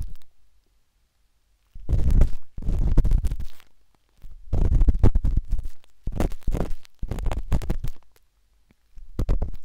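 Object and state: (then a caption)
Silicone microphone ear being scratched. A metal-tipped dot stick with a wooden handle scratches inside the soft, hollow canal of a pinkish-white silicone binaural microphone ear. Bursts of deep, muffled rumbling scrapes with rapid, irregular tapping come in several clusters, separated by short silences.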